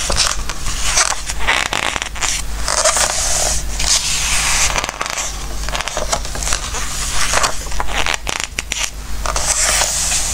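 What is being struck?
Glossy paper book pages.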